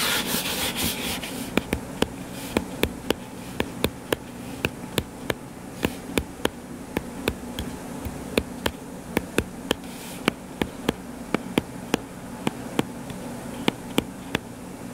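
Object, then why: Paperback book with card cover. Fingertips scratch and then tap on the cover of a purple-covered paperback book lying flat and solid. A brief rough scratching opens, followed by a steady run of short, dry, sharp taps that die away instantly, over a constant low hum.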